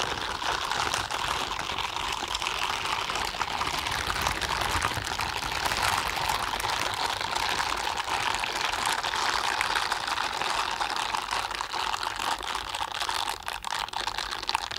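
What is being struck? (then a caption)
Silicone gloves. A pair of blue silicone scrubbing gloves, worn on both hands, has the palms and forearms rubbed against each other. This makes a steady, dense rubbery friction that stays bright from the upper mids into the highs, with almost no low end. It continues at an even level for about 15 seconds.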